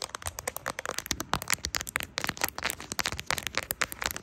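Long acrylic nails tap rapidly on the back and camera bump of a smartphone in a brown silicone case with plastic charms, held in both hands. The result is a quick, dense run of short, dry, bright clicks that stop almost instantly, with very little low end.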